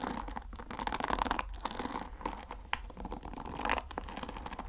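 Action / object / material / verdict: scrape / wooden paddle hair brush with wooden pins / wood / none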